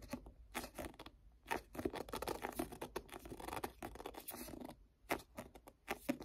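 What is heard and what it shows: Fingertips rub and grip the glossy card cover of a striped-cover paperback book, a solid paper block. Quiet, dry, scratchy rubs and short squeaky grips come in many brief bursts, with a couple of short near-silent pauses between them.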